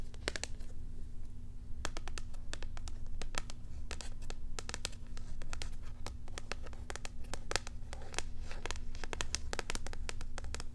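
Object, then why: Cardboard and plastic blister pack. A small packaged cat toy, a flat cardboard backing card with a clear plastic blister over the toy, is held in both hands while long acrylic nails scratch and crinkle the hollow packaging. Rapid, crisp tapping and scratching clicks crackle bright and dry over a steady low hum throughout.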